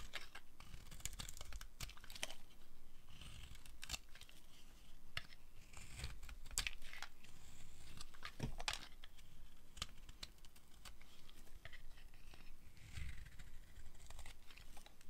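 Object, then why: Bar of soap scraped with a small metal blade. A small metal blade carves and scrapes flakes off the edge of a pink-and-white striped solid dry soap bar held in hand. Dense, crisp scraping and crackling strokes with bright, papery highs repeat throughout, over a low, soft rumble. The carving continues steadily in short, dry bursts with little ring.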